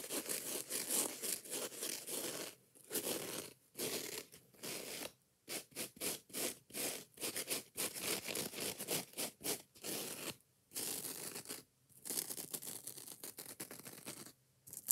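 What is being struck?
Foam kitchen sponge with scouring pad.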